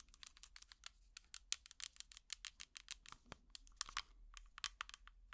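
An empty small clear plastic tub with an orange lid is tapped with plastic finger picks in a quick, irregular series of many light taps. Each tap is a dry, bright click that stops almost at once, with little low end and a faint low hum underneath. The overall level stays quiet.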